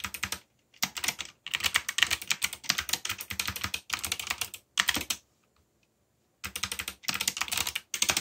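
Fingertips type fast on a backlit mechanical keyboard with black plastic keycaps, producing rapid, bright, crisp clicks with very short decay. The key presses come in bursts, broken by brief pauses and a longer silence in the middle.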